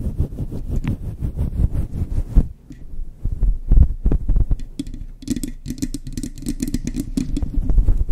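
Long chrome nails quickly scratch a soft, hand-sized, grey-white fluffy faux fur windscreen over a microphone from both sides. The result is a dense, muffled rumbling roar of rapid scratches, heaviest in the deep lows, with a brief dip just before the midpoint. Faint bright crackles ride over the low scratching near the end.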